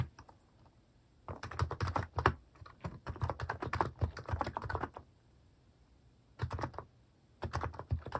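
Fingertips type on a compact mechanical keyboard with a white plastic case and cat-themed plastic keycaps. Bursts of quick, deep, thocky key taps are separated by short pauses, and each click stops sharply with almost no ring.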